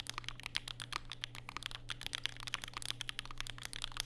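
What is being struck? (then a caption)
Mechanical keyboard with plastic keycaps. Fingertips type continuously on a compact black Vega mechanical keyboard with plastic keycaps and Durock POM switches, resting on a desk mat with a white wrist rest. Rapid, crisp, bright clacks follow one another with almost no ring, over a faint steady low hum.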